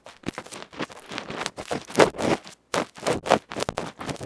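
A bamboo ear pick scratches across the dark felt front of a small electret microphone capsule, a metal can with a felt cover, held in the fingers. Close, loud scratching and scraping bursts come in an irregular rapid stream, broad and crackly with a mid-range emphasis and bright edges. One brief silent gap falls near the middle.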